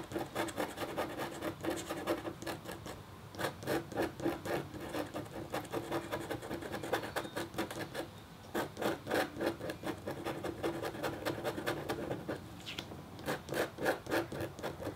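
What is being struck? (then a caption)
Black-coated copper-foil scratch board scraped with a metal stylus. The metal tip of a red stylus scratches a flat, thin, solid black-coated copper-foil scratch art board while the other hand holds the board still. Fine scratching strokes come in quick, irregular bursts of dry, raspy friction, about three to four per second. The sound is centered in the midrange with brief bright streaks and almost no ring after each stroke.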